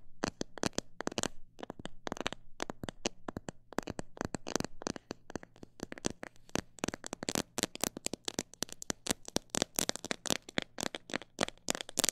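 A fingernail taps rapidly and irregularly on a plastic bottle holding parrot seed, alternating quick bursts with slower taps. Each tap is a sharp, dry, bright click that stops almost instantly. A faint low hum sits underneath.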